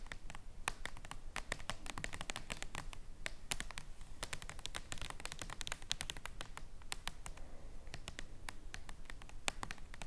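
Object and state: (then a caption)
Jumbo paper playing card tapped with nails. Long nails tap rapidly on the surface of a jumbo printed paper playing card, a king of hearts, lying flat on a table. Quick, irregular, crisp clicks with bright, papery edges die away almost instantly, over a steady low background hum.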